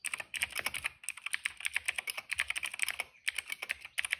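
Fingertips of both hands type steadily on a retro-style cream plastic mechanical keyboard with dark and purple plastic keycaps and a hollow case, resting on a rug. The result is a rapid run of crisp, bright clacks centered around 2 kHz, with almost no low end. Each keystroke dies instantly, with short pauses near 1 and 3.2 seconds.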